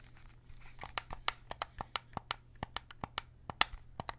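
A white PS5 DualSense controller of hollow plastic, held in both hands, has its triggers and buttons clicked by fingertips. Seventeen sharp, bright plastic clicks come in an irregular rhythm over a faint steady low hum, each click dying away almost instantly.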